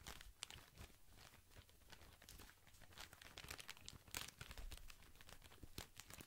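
Fingers squeeze and crinkle the thin plastic film wrapped around a tall white pack full of soft cotton pads. The clip is a quiet, continuous crinkling with bright, crackly bursts and a low rumble underneath.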